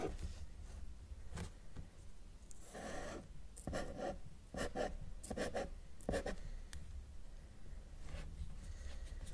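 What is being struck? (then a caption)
Felt-tip marker on drawing paper. A felt-tip marker draws small tree strokes on a flat sheet of thin, solid white drawing paper, its tip rubbing across the surface. Short bursts of squeaky, scratchy rubbing come in quick strokes with brief pauses between them, over a low steady background.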